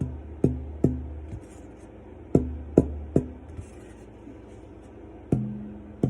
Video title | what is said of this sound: Top tonewoods and getting started | so you can hear that sort of musical high-pitched ring coming off of it and i can hear two or three other overtones over the fundamental